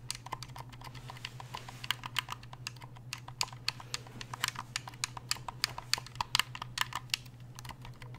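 Fingers click the buttons of a black, hollow, hard-plastic game controller and tap its shell with their nails. The result is a fast, irregular run of dozens of sharp, bright clicks and taps that die away instantly, over a steady low hum.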